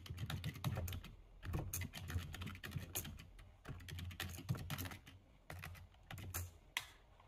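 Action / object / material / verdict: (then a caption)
tap / plastic computer keyboard / plastic / none. Fast two-handed typing with fingertips on the plastic keys of a full-size black plastic computer keyboard. The keystrokes come in rapid bursts separated by brief pauses, each tap a dull low thud topped by a short, bright click that dies away almost at once.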